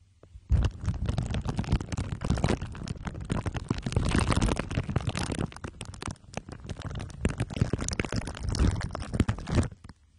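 Glue sticks are pressed and rubbed against the sides and top of a microphone head wrapped in crumpled aluminium foil under clear plastic wrap. This produces a dense, continuous stream of sticky crackles and crinkles with a heavy, muffled low-end rumble. It runs from about half a second until just before the end, then stops abruptly.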